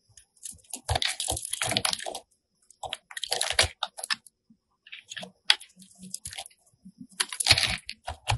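A solid pink rectangular soap bar, held in the hand, is scored and shaved with a metal box cutter blade. Bursts of bright, crisp scraping and crunching come in several clusters separated by short pauses, with sharp clicks as the blade cuts in. Thin shavings are carved off the bar.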